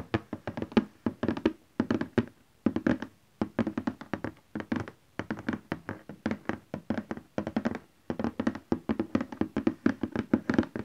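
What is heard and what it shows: A large cardboard Canon Selphy printer box, likely with the printer still inside, lies flat and is tapped with the fingertips and nails of both hands. Rapid bursts of short, dry, hollow taps and thunks come in quick rolls separated by brief pauses, centred low around 230 Hz with a little bright click from the nails. Each tap dies away almost instantly.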